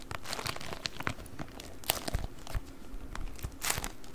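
A rolled, beeswax-coated cotton food wrap with a printed pattern is held in both hands and crinkled and squeezed with the fingers. A steady stream of dry, papery crackles and crinkles runs throughout, with sharper bright snaps standing out near the two-second mark and again toward the end. Soft low handling thumps sit beneath them.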